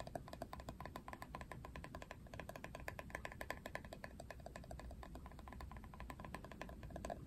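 Fingernails scratch and tap rapidly across the ridged, hollow-feeling hard plastic back of a paddle hairbrush printed with a Barbie portrait in ridged lines. The result is a dense stream of short, dry clicks and scrapes with a bright plastic tone around 1.7 kHz over a low rumble, each tap dying away almost instantly.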